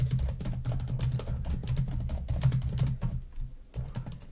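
Long nails type and tap quickly on the keys of a black plastic laptop keyboard, making a steady run of light clicks over a low, humming undertone. About two dozen taps blur together, pausing briefly near the end before resuming.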